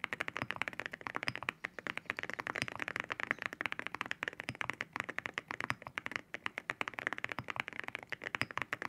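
Both hands type with their fingertips on a white mechanical keyboard with ceramic keycaps, tapping the keys. It produces a steady stream of rapid, dry clacks with a bright, glassy edge centered near 2 kHz. Each tap stops almost instantly, with very little low end.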